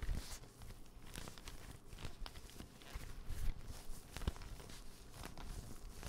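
A dark green, soft-sided, hollow fabric pencil case with a lime zipper trim is tapped and scratched with fingertips and nails close to the mic. The result is a quiet, steady stream of soft, dull thumps that are mostly low in tone, with faint brushing and scratchy rustles layered over them.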